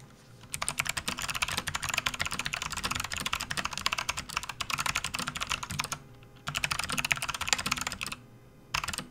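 Both hands type continuously with their fingertips on a full-size, RGB-backlit plastic membrane gaming keyboard resting on a desk mat. Dense, bright, short clacks run in fast bursts, with two brief pauses near the end.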